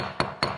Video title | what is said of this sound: Concrete crack repair for overlay | I tap on it on both sides see look that's Hollow right there which is a little bit concerning